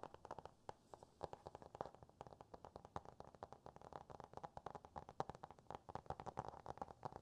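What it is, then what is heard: Hardcover cardboard book. A small, solid Dr. Seuss hardcover book with a cardboard cover is held up and tapped and scratched with fingertips and nails. About 50 quick, dry, hollow taps mix with faint scratchy rubbing. The sound is quiet and mostly midrange, centered near 780 Hz, with little deep bass and no ring.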